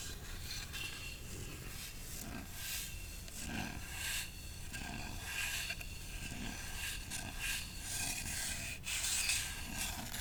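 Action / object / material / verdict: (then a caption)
scrape / small carved wooden ornament / wood / none. A wooden Going Merry Jolly Roger ornament is tapped and scratched, giving a steady, bright rubbing and rasping sound. Soft scrapes and light taps come in repeated strokes over a low rumble, and none of them ring on.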